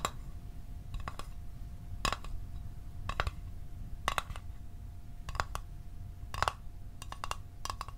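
Fingernails tap a small, closed, hollow blue Altoids metal tin held in the hands, producing quick clusters of bright, dry clicks with a faint metallic ping near 1.1 kHz that dies away almost instantly. The taps come in irregular bursts over a steady low background rumble and a faint constant tone.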